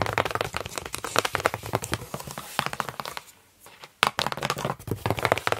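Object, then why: Closed corrugated cardboard box. Long nails scratch and tap across the flaps of a large, hollow, still-closed corrugated cardboard box. A dense run of dry, crackly scratches and short taps goes quiet for a moment, then resumes with a sharp tap and more brisk scratching.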